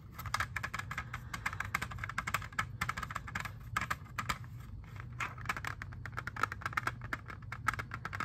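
Fingernails tap rapidly on a clear, hollow, hand-sized plastic jewel case holding an Xbox 360 disc. The result is a dense run of short, dry plastic clicks with a bright ticking tone around 1.3 kHz that stops instantly after each tap. A steady low hum sits underneath.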